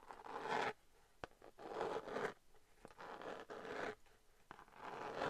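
Long nails scratch across a flat, hollow-ish glitter cardboard eyeshadow palette in repeated raspy strokes, separated by brief pauses and a few sharp taps. The scratching is dry and papery, centered in the midrange with a bright edge.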